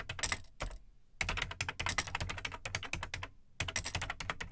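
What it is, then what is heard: Plastic home computer keyboard being typed on. Fingertips type on the plastic keycaps of an Amstrad CPC 464 home computer, a large hollow black plastic case. Bursts of quick, bright clacking keystrokes with short dry thuds underneath break off for brief pauses before the typing resumes.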